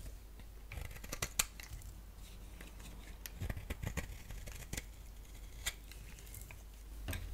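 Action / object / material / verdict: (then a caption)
scrape / bar of soap / soap / none. A utility blade scrapes and cuts flakes from the surface of a solid, hand-sized lilac bar soap. Bright, crisp clicks and short scraping strokes come in irregular bursts over a low, steady background rumble.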